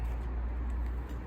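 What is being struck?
Nothing is struck.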